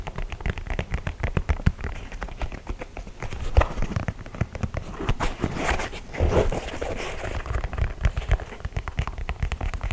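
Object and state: Leather sneaker.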